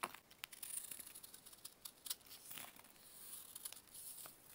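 A metal knife scrapes and carves flakes from a larger, solid grey pressed baking soda block held in a purple-gloved hand, letting them fall onto a brown surface. The quiet, dry scraping is bright and crisp, with irregular crunchy crackles and short sharp ticks that die away almost instantly.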